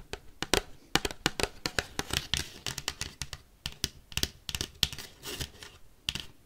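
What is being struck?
Paper plate tapped with metal paperclips.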